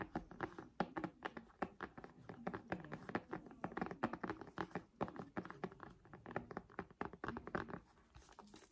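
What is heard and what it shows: Long nails tap quickly and steadily on a purple folding faux-leather folio cover on a tablet, making soft, dull taps with a slight scratchy edge and almost no ring. The run of taps is dense and even, then turns fainter and sparser near the end.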